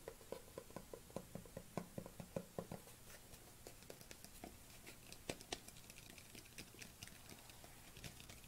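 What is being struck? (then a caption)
Plastic supplement tub. A white plastic supplement tub is held in both hands while fingernails tap and patter on its side and lid. Quick, dry taps with almost no ring come in a steady run with a hollow low-mid body for the first few seconds. They then turn lighter and more scattered, with brighter clicks over a faint background hiss.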